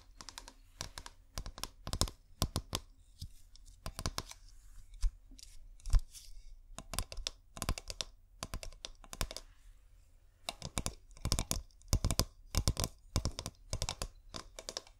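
Fingernails tap rapidly on the surface of a clear glass bottle with fairy lights inside. Quick bursts of sharp, bright clicks come in clusters with short pauses between them, each tap dying away almost instantly over a faint, steady low hum.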